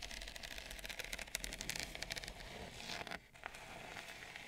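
Long nails tap and scratch near the edge of a wide, shallow bamboo serving plate that is solid and thin. Quick, bright, crackly clicks and dry scraping come in dense, quiet bursts with almost no ring. A brief hush near the end gives way to lighter scratching.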